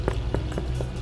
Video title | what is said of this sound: BAKE A WHEAT LOAF AT HOME - EASY & NO KNEAD - Anyone can bake ! | turn it over and knock it like that it should give you that nice hollow sound